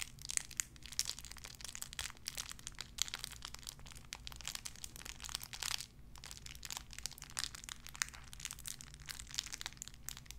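A small clear plastic bag wrapped around a tiny white figurine is crinkled and squeezed between fingertips with long red nails. Dense, bright crackling and crinkling runs almost continuously, with a brief lull near the six-second mark, over a faint steady low hum.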